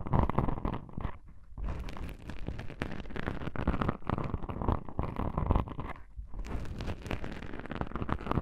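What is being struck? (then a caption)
Foam microphone windscreen. Long pink-painted nails scratch two small black foam windscreen covers on a binaural microphone. The result is a dense, continuous run of rough, crackling scrapes, heavy in low rumble, with brief quieter gaps near 1.3 and 6.2 seconds.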